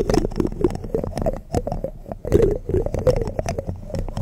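Fingertips and nails of both hands scratch and tap the bare mesh metal grille of a large hollow condenser microphone. The result is continuous, close, muffled scratching with dense clusters of quick taps, heavy in low and low-mid rumble with little high end. The sound dips briefly just past the two-second mark before resuming.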